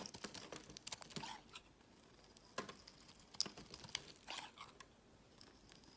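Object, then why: Soap bar carved with a blade. A utility knife blade scrapes across a solid orange Palmolive soap bar held in the hand, carving off curling shavings. Quiet, bright, crisp scratching and crinkly rasps come in short, irregular bursts with tiny high clicks and almost no low end.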